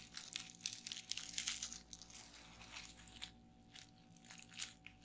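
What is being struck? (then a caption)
Plastic bubble wrap sheet. Fingertips with long nails press, tap and pop the air-filled bubbles of a flat sheet of clear plastic bubble wrap lying on a table. Quick, bright crinkling crackles and sharp little pops come in an uneven, busy stream for the first two seconds. They then thin out into softer scattered taps and crinkles.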